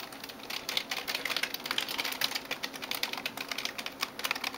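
Fingertips and nails type quickly on the plastic keys of a backlit gaming keyboard. A rapid, uneven stream of sharp, bright clicks and taps is heard, each dying away almost instantly with almost no low end.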